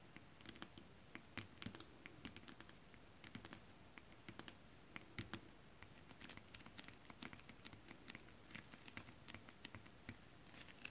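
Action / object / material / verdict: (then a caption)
tap / holographic scale-print fabric tapped with long acrylic nails / synthetic fabric / none. Long acrylic nails scratch and tap flat holographic mermaid scale-print fabric. A quiet, dry scratching runs throughout under a steady patter of short, crisp, bright clicks that die away almost instantly, with a soft low rustle beneath.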